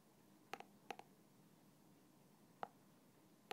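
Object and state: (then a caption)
Plastic bottle with liquid. A thin black stick taps and scratches the side of a small translucent plastic bottle, partly filled with clear liquid and standing upside down on its red cap. Six short, crisp plastic clicks ring near 790 Hz with brighter overtones: two quick pairs, then two single taps spaced apart. A low, steady hiss fills the gaps between them.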